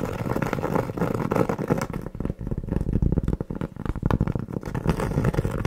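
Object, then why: Cork board trivet. Long nails scratch and tap a large, round, flat, solid cork board trivet held in the hand close to the mic. The result is a steady, dull, low-heavy rasp broken by rapid, soft taps with no ring and almost no bright edge.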